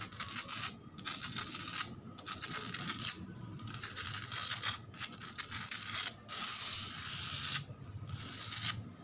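Long pointed nails scratch and rub across flat, solid, sandy concrete ground outdoors. The result is bursts of bright, gritty, hissy scraping, almost entirely high-pitched, broken by short quiet gaps.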